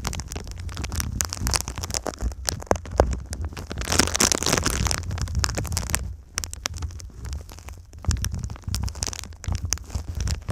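A silver foil-faced foam insulation sheet is bent over the microphone while long nails tap and scratch its crinkly foil. The result is a dense, continuous crackle of rapid taps and rustling scrapes over a heavy low rumble, swelling into a brighter, louder burst of scratching midway before settling back into quieter tapping.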